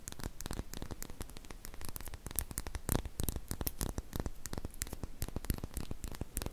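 A small glass serum dropper bottle with a silver cap, apparently holding liquid, is held in both hands and scratched and tapped with long painted fingernails. The result is a dense, steady stream of quick crackling scratches and short sharp taps over a low, hum-like rumble.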